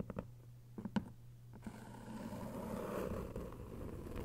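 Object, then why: Hardcover paper book with dust jacket. Long white nails tap seven times on the paper dust jacket of a thick hardcover novel, 1Q84 Book 2, lying flat and solid, each tap a short, dull click. After about a second and a half, the nails scratch steadily across the cover, giving a continuous soft, papery rasp until the end.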